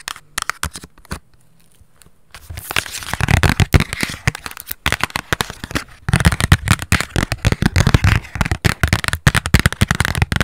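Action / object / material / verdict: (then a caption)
tap / small cardboard box / cardboard / none. A small, hollow, handheld printed cardboard gift box with a pink floral pattern is tapped and scratched with long nails. A few scattered taps give way to a brief quiet pause, then rapid, irregular tapping and scratching follows. The tapping makes dry, muffled, low-heavy thuds that die away almost instantly.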